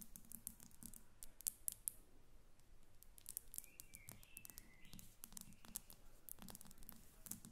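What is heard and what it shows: Long red nails tap the sides and top of a faceted glass perfume bottle with a silver cap, partly filled and standing on a table. The quick, quiet taps sound bright and clicky, stopping almost instantly with no lingering ring. A few faint, brief tonal squeaks come through midway.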